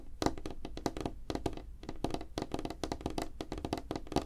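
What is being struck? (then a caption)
Wooden tabletop. Fingertips and nails of both hands tap fast on a flat, solid, light-colored wooden tabletop. A rapid, uneven run of short, dull knocks with a low-mid body dies away almost instantly, with little brightness or ring.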